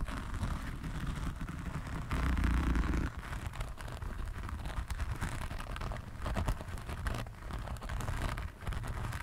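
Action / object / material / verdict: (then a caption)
scrape / diamond painting canvas with faceted resin drills / resin / none. Both hands scratch across a flat diamond painting canvas covered in faceted resin drills, using fingertips and short nails. The result is a dense, continuous scratchy rustling with quick irregular strokes, and a louder, heavier low-toned stretch about two seconds in that lasts around a second.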